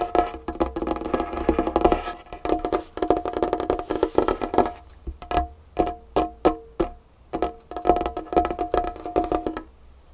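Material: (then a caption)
Wood. Long fingernails tap rapidly on a large, solid dark-wood tabletop, ending with a flat hand on the surface. Dry, clicky taps come in quick bursts separated by short pauses, each with a brief woody ring around a mid pitch and very little low or bright content.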